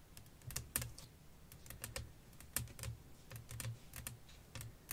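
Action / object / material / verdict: tap / flat glass pane resting on fabric / glass / none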